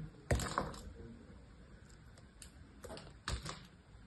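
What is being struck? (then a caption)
Cream bar soap. A small knife cuts slices and grooves into a solid cream bar of soap held in the hand. Sharp, crisp clicks and scrapes come in uneven bursts over a low, quiet background, with the strongest cuts near the start and toward the end.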